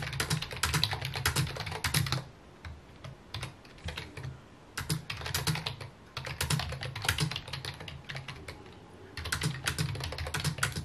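A full-size white plastic computer keyboard with mint keycaps, resting on a wooden desk, is typed on with fingertips and short nails, producing rapid repeated key taps. Bright, dry clicks with a soft low thump come in three busy bursts, at the start, the middle and the end, separated by quieter stretches of sparse taps.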